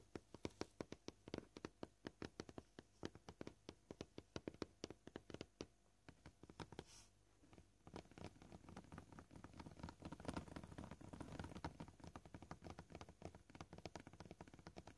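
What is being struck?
Plastic cutting board.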